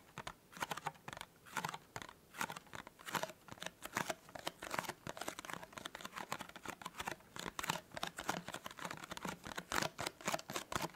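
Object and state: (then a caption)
Cardboard gift box. Fingernails rapidly scratch and tap on the petal-fold top of a small, hollow, white printed cardboard tea gift box. The result is a quick, irregular stream of dry, papery clicks and scratchy crinkles. The sounds are bright and closely spaced, with almost no low end and no ring after each tap.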